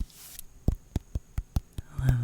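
A small, perfectly round pumpkin is tapped slowly, making six soft, low, hollow thuds with a short decay, evenly spaced. A low hum swells underneath at the end. The pumpkin gives a lovely, deep tap sound.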